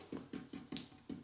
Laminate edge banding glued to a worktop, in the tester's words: there should be no like hollow points or anything. It should feel totally solid all the way along.